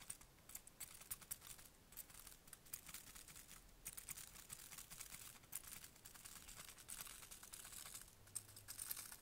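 A small bunch of dried white flowers on stems is held in one hand and crinkled and rubbed by the fingertips and nails of the other. The result is a quiet, continuous stream of dry, crisp crackles and fine ticks, mostly bright and high, with slightly louder bursts throughout.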